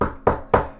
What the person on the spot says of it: you can hear me knocking on a coffee table